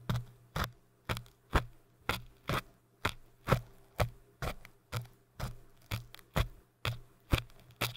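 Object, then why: Hard foam cylinder scratched with thin crochet hooks. Two thin dark crochet tools scratch and poke the surface of a tall orange hard foam cylinder. Quiet, short, scratchy bursts with bright crinkly edges repeat at a loose, uneven pace of about one per second, each dying away almost at once. A steady low hum sits underneath throughout.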